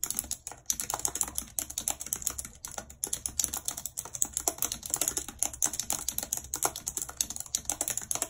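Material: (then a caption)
Plastic. A full-size white and silver plastic computer keyboard with a numeric keypad, lying on a map, is typed on quickly and continuously with very long red acrylic nails and fingertips. The hollow keys give a dense stream of bright, sharp clicks and taps that die away almost instantly. The mix is mostly high sound with almost no low end.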